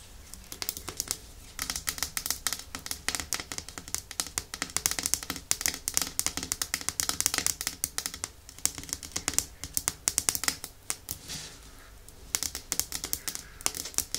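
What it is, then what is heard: Glass nail polish bottle tapped with nails. Long nails tap rapidly on a small, partly full clear glass nail top coat bottle with a black plastic cap. The result is a dense run of bright, dry clicks with very short ring and little low end, broken by brief pauses near the start, middle and toward the end.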